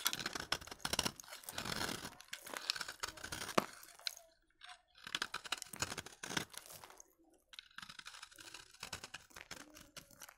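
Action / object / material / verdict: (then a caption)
scrape / bar of soap cut with a knife blade / soap / none. A utility knife blade cuts crunchy flakes off the corner of a solid, dry vintage bar of soap. Dense, bright, crackling scrapes come in bursts separated by short silences, with many quick crunches close together.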